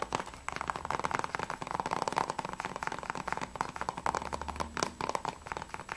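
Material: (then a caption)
Plastic. Fingertips and nails tap quickly on the front of a closed, hollow plastic PS3 game case for Assassin's Creed III held in the hands. The result is a dense run of short, clicky plastic taps with a hollow midrange tone near 900 Hz and bright edges, each dying away almost instantly, over a faint low hum.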